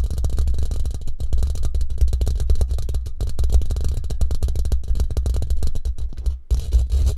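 Short fingernails rapidly scratch and tap across the woven surface of a hollow steel mesh microphone head. The result is a dense, continuous stream of quick scratchy taps over a heavy, boomy low rumble. Each tap dies away almost instantly.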